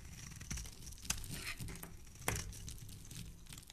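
A hand-sized solid pink bar of soap, held in the hand, is scraped and shaved with a black blade, curling off thin shavings. The result is a quiet, continuous dry crinkling and scraping texture over a soft low rumble, with a few sharper crunchy snaps standing out as the blade bites in.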